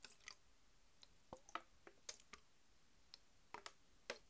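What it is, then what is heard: Plastic soda bottle. Long white nails tap a PET plastic Mountain Dew bottle, full of green soda and lying on its side. Thirteen quiet, separate, sharp clicks ring for a very brief moment, with bright, crisp tops and a faint hollow note around 490 Hz.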